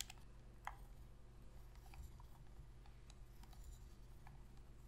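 Long pink fingernails press and tap the sticks and buttons of a hollow black plastic Sony PS3 controller held in both hands. Quiet, dry plastic clicks and light taps scatter throughout, with one sharper click near the start, over a steady low hum. Each click stops almost instantly, leaving no ring.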